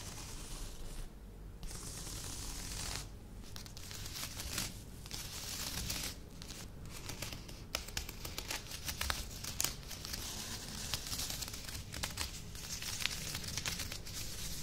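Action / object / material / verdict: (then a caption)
scrape / woven placemat / woven fabric / none. Long nails scratch across the textured weave of a grey, glittery woven placemat lying flat on a table. The result is a steady, bright, scratchy rasp with brief pauses between strokes and occasional sharp clicks, over a low background rumble.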